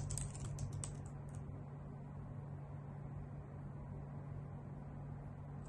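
Long nails and fingertips type on a white full-size plastic computer keyboard with hollow key caps, giving a quick burst of bright, clicky taps in the first second and a half. The tapping then stops, leaving a steady low hum for the rest of the clip.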